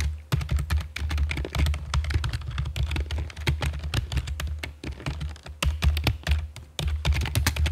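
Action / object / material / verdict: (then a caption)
tap / plastic computer keyboard / plastic / none. Long fake nails and fingertips type on the keycaps of a full-size black plastic computer keyboard with a hollow body, resting on a stone table. Rapid, dense taps run throughout, with bright, short clicks over a deep, chunky thump. Brief pauses come near the start, mid-clip and near the end.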